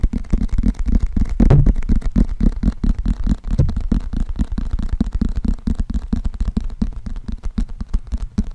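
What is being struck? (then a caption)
Paperback book with glossy cardboard cover. Fingernails tap rapidly on the glossy cardboard cover of a closed paperback book with a green spine, held in front of the microphone. The taps are dull, low, short thuds with almost no bright content, and they continue in a steady, uneven patter throughout.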